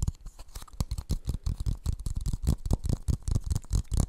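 Fingertips and nails tap and scratch a hollow, empty blue plastic funnel held close to the microphone. The result is a rapid, uneven, brush-like patter of short, dry, low hollow thumps, each with a faint bright scratchy edge.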